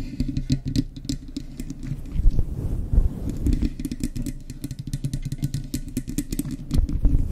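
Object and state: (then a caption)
Faux fur microphone windscreen being scratched. Long chrome nails and fingertips scratch and flick the sides and lower edge of a fluffy grey synthetic fur windscreen on a Blue Yeti microphone. The sound is a dense, deep, muffled rumble of rubbing and thumping, dotted with short bright crackles as the fur is flicked, and it grows heavier near the end.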